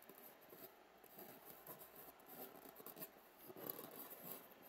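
A wooden matchstick scratches and pokes into the foam of one hollow cup of an empty white polystyrene foam egg tray. Soft, dry scratching and rasping rub along the foam in short, uneven strokes, with a faint steady high whine underneath throughout. The sounds stay quiet and close, with no ring after each stroke.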